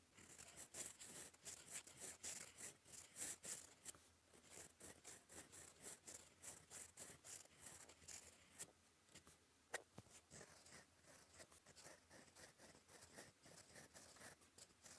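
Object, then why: Metal fountain pen nib scratching across a paper sheet. A gold fountain pen nib writes in black ink in cursive strokes across a flat, lined cream paper sheet. The nib's scratching comes as a quiet, steady stream of short, bright strokes and taps, with one sharper click near the ten-second mark.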